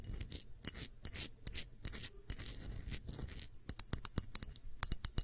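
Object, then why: Thick pressed-glass dish. A round, thick, clear pressed-glass dish is held edge-on while long nails tap and scratch its rim and feet. The result is a quick run of bright, clicky taps and brief scraping bursts, mostly high-pitched with very little low end. Each tap dies away almost instantly, leaving only a faint glassy tick.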